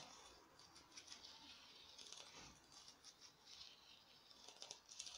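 A small, hand-sized, glittery orange artificial pumpkin, likely foam, is tapped and scratched with long nails. The result is quiet, crisp, bright clicks and scratchy rustling with almost no low end. Each tap fades quickly.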